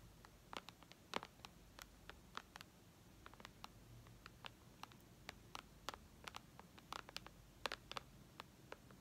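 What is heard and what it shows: Long red nails tap on the glass screen of a white iPad lying flat, making 34 quick, sharp clicks spread irregularly over about nine seconds. Each tap is a soft, dry tick with bright high content and no ring, over a quiet low background hiss.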